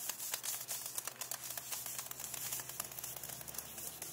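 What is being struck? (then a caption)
Paperback book with glossy card cover. Long nails rapidly scratch and tap the glossy card back cover of a closed paperback book lying flat, back cover up. The result is a quick, dense run of bright, crisp clicks and scratchy rasps with almost no ring, over a faint steady low hum.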